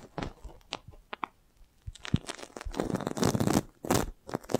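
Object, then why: Thin plastic film balloon. A clear, thin plastic film magic balloon, hollow and air-filled, is held over a microphone and tapped and scratched with long nails, then pressed with the palm. Scattered crisp taps and scratches give way to dense, crinkly crunching and rustling bursts of plastic.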